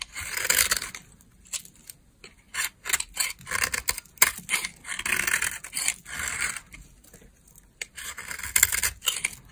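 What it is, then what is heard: Dry bar soap being scraped. A green-handled utility knife carves thin slices from a solid beige bar of dry soap. Each cut makes a short, bright, dry scraping rasp with almost no low end, coming in repeated bursts separated by brief pauses.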